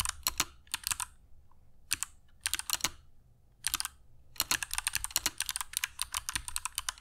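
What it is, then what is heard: Mechanical keyboard with clicky switches and PBT plastic keycaps. Fingertips of both hands type continuously on a compact black mechanical keyboard with dark PBT plastic keycaps and Kailh Box Jade switches, resting on a cork desk mat. Sharp, bright, clicky keystrokes come in quick bursts separated by brief pauses, each click dying away almost instantly with little low-end thump.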